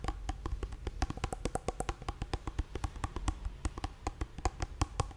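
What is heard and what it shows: A small, soft plastic squeeze tube of hand cream, apparently full, is held upright in one hand and tapped and scratched with long painted nails. The result is a rapid, uneven series of short, dry clicks and taps with a dull, low body, bright nail ticks and almost no ring, mixed with faint scratching between hits.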